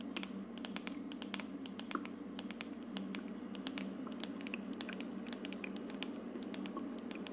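Long nails tap and scratch the frosted plastic dome of a hollow plastic aroma diffuser, producing a quick run of dry, bright clicks and scrapes with almost no ring. A steady low hum sits beneath the tapping throughout.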